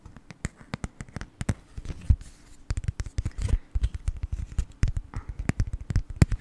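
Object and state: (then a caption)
Cardboard card holder tapped. A small, flat black cardboard gift card holder is held in front of the microphone and tapped rapidly with long nails. The result is a steady stream of short, dry, dull taps and light scratchy brushes, heavy in the low end, with almost no ring after each hit.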